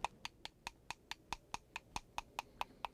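A fully dried ink stick made of soot and glue is tapped 14 times in a steady rhythm, each tap a short, dry, clear knock centred near 940 Hz, like a wooden temple block. The clear tone marks the stick as fully dried and finished.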